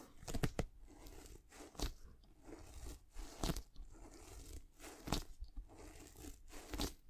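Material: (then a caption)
Patent leather. Long nails scratch and tap the upper and swoosh panel of a white and black-gold patent leather high-top sneaker held in hand. Soft, crunchy scrapes and dull taps come in irregular bursts, with a few sharper clicks standing out over a quiet, low-heavy hiss.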